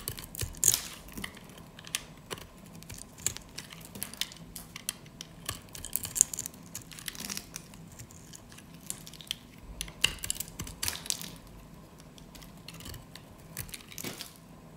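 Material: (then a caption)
Soap. A metal utility blade scrapes and cuts a solid orange rectangular bar of dry soap held in the hands, chipping off crunchy flakes. The clip is a quiet run of dry, crisp crunches, scrapes and sharp clicks, mostly high and bright, with very short decays between the bursts.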